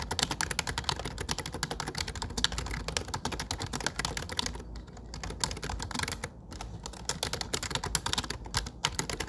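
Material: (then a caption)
Plastic. Fingertips tap the dark plastic keycaps of a low-profile plastic computer keyboard while typing, producing a rapid, steady stream of short, bright, clicky key taps. There are brief quieter lulls around the middle before the typing picks back up.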